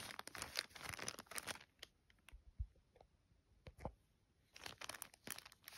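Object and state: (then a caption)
Paper gift bag. Fingertips and long nails trace and scratch over a flat, thin yellow polka-dot paper gift bag or envelope lying flat. Bright, crinkly scratching and rustling comes in dense bursts, fades to a quieter stretch with a few soft, low taps and light scrapes, then picks up again.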